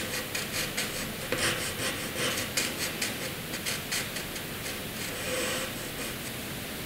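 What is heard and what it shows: A graphite pencil scribbles a zigzag line across a flat sheet of white drawing paper. The result is a continuous dry, bright scratching with rhythmic back-and-forth swells as the strokes change direction, ending in a steadier, softer scrape.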